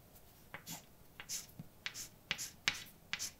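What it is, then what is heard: Chalk writing on a blackboard. A hand writes words with a white chalk stick on a large, flat, dark painted blackboard with a solid surface. About ten sharp, bright taps and short scratching strokes rise over quiet hiss, each dying away almost at once. The sound is mostly high and crisp with very little low end.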